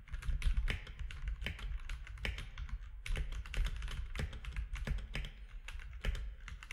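Fingertips type steadily on a compact mechanical keyboard with gray and cream plastic keycaps. Rapid, closely spaced keystrokes each give a short, dry click with bright top edges over a dominant low thock. The clicks die away almost instantly, forming a continuous, even typing rhythm.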